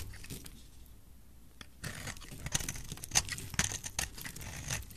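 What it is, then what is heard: Dry bar of soap being scraped. A solid oval bright green bar of dry soap, held in hand, is scraped with a metal utility knife blade. After a quiet, faintly hissing start, dry crumbly scraping and crackling begin near the two-second mark. Sharp bright clicks and crunches punctuate the scraping unevenly until the end.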